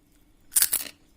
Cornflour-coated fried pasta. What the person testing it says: कितना कुरकुरा है यह यह देखिए